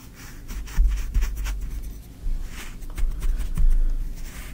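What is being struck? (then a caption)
Kinetic sand in a tray, worked with a wooden stick. A thin wooden stick is poked and dragged through green kinetic sand filling a tray, while the other hand rests on the sand. The result is soft, grainy scraping and rubbing with dull, low thuds, and brief brighter swishes where the stick drags through.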